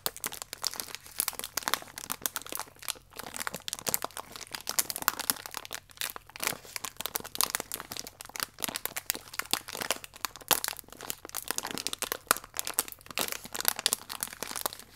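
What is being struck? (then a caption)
Thin plastic biscuit wrapper. A full, thin plastic biscuit pack is pinched and rubbed with fingertips and nails, giving a steady stream of dense, bright crinkling and crackling. Sharp, short snaps come in quick succession with little low end throughout.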